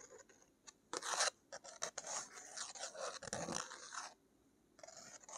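A thick watercolor paper page bearing a painted crest is rubbed and scratched with long nails. The result is dry, papery scraping and scratching with bright, hissy highs. Short scratches and longer rubs come and go, with quiet gaps in between.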